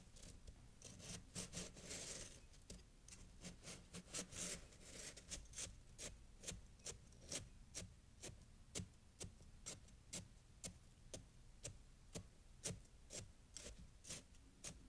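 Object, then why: Packed snow pile cut with a steel knife. A steel knife repeatedly slices and scrapes through a compacted pile of fresh snow held in bare hands. The sound starts with denser, continuous rasping, then settles into a steady series of sharp, crunchy cuts, roughly two per second. Each cut is a brief, bright crunch over a low background rumble.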